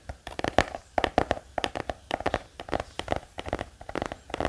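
A black hardcover notebook, held upright, is tapped rapidly with the fingertips of both hands. The result is a quick, irregular run of about 21 dry, hollow taps centred around 700 Hz, each dying away almost at once.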